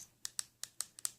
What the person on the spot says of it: this kinds of plastic makes a different tapping sound